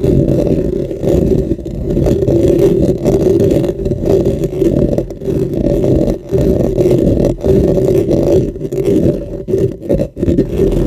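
Both hands with dark-painted fingernails and fingertips scratch and rub the metal mesh head of a dark, hollow, cylindrical USB microphone, about 15 cm tall, on a stand. The result is a continuous, close, muffled scratching and rumbling, thick in the low and low-mid range with almost no high end, dipping briefly in a few spots.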